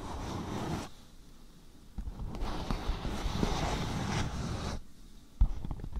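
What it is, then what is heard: Beeswax-coated cotton food wrap. Fingertips and nails scratch and crinkle the waxy surface of a thin, patterned beeswax-coated cotton food wrap stretched over a microphone. The result is dense, muffled, low-heavy rustling and crackling in bursts, with quieter stretches between them. One sharp, loud pop stands out near the end.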